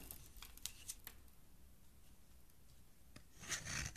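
A metal blade scrapes and carves a solid green, palm-sized oval soap bar held in one hand, shaving off crumbly flakes. Short, crisp scraping strokes come first, then a quieter stretch of faint rasping, then a louder, dense, bright scraping burst near the end.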